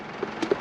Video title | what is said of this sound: A VEGETABLE FARMERS AMAZING 2024 FROM PLANTING TO HARVEST | when you tap them if they sound hollow that's a good sign